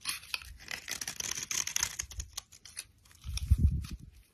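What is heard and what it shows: A utility knife blade scrapes a solid brown soap bar held in the hand, carving it into thin flakes and small cubes. Dense, bright crackling and crisp shaving sounds fill the first half, thinning into sparse scratches. Near the end comes a burst of deeper, muffled low thumps.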